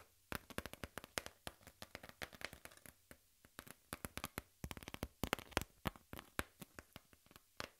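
A brown corrugated cardboard piece is held flat while fingertips and nails rub and scratch its surface. The result is a quiet, irregular stream of many short, dry scratches and taps with crisp, bright edges that die away almost instantly. Brief pauses separate the denser bursts.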